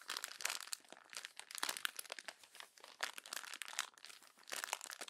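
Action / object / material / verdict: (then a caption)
scrape / thin glossy magazine pages / glossy paper / none. A hand crumples the thin glossy pages of an open paper magazine into a wad, then presses and rubs it with fingertips and long nails. The result is dense, bright crinkling and crackling in rapid overlapping bursts, with almost no low end.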